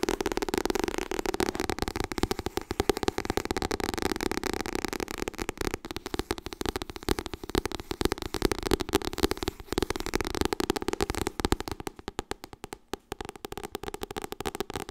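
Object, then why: Paperback book with soft card cover. Fingertips and nails tap rapidly on the cover of a white softcover "Getting Things Done" paperback book. The result is a dense stream of short, dry clicks with a soft hollow tone around 390 Hz and bright nail ticks on top. The tapping thins out briefly near the 12–13 second mark before continuing.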